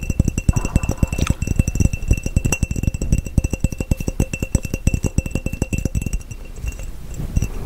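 A clear, empty, hollow glass mason jar with measurement markings is tapped rapidly on its side with fingertips and nails. The quick, steady taps give dull low thumps with a faint ringing glassy clink on top, continuing for the whole clip.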